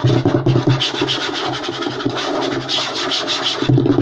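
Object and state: Wooden table top.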